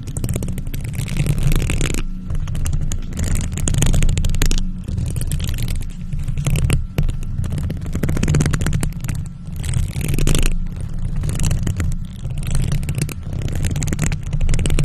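Long nails on purple faux leather gloves scratch a hollow silver metal mesh microphone grille. The result is a dense, continuous scraping rumble, heavy and boomy in the lows, with bright raspy bursts that swell and fade in waves.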